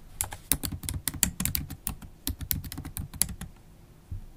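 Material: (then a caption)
Plastic. Long pointed acrylic nails type continuously on a MacBook Pro keyboard, black plastic keycaps in an aluminium body, tapping with both nail tips and fingertips. The result is a quick, uneven run of short, dry clicks, each with a bright tick on top and a soft low thump beneath, dying away almost instantly.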